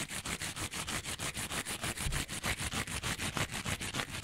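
A small rectangular kitchen sponge, with a yellow foam layer and a green abrasive scouring pad, is held upright and scratched along its edge with fingernails. About 21 quick, rhythmic rasping strokes come at roughly three per second. Each is a dry, bright, hissy scrape with a little low rumble underneath.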